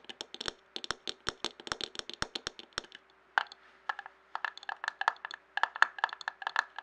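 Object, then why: Glass jar filled with paper scraps. A clear glass jar filled with paper scraps, first lying on its side and then turned upside down, is tapped with fingertips and nails. A quick run of short, bright, clicky taps with a brief glassy ring near 1.7 kHz, with short pauses just after the three- and four-second marks, plays over a faint steady low hum.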